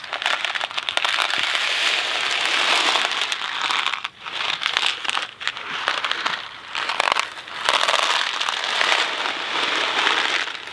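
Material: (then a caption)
Cardboard. A small Kraft macaroni and cheese cardboard box filled with dry pasta is held in one hand, rotated and shaken. It makes a dense, bright rattling and crackling as the pasta tumbles inside, with almost no low end. The sound comes in continuous waves, with brief dips around 4, 5.5 and 7.5 seconds.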